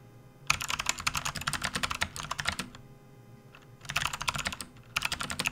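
Both hands type with their fingertips on a full-size, RGB-backlit plastic membrane gaming keyboard resting on a desk mat. A rapid stream of bright, clicky plastic key taps comes in three bursts with short pauses between them. Each tap cuts off almost instantly.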